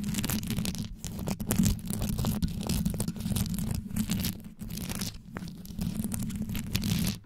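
Long yellow nail tips scratch quickly across the top and sides of a black condenser microphone's rhinestone-studded grille. The result is a dense, continuous rasping and crackling with a strong low rumble, steady throughout with a few brief dips, and bright gritty scratches layered on top.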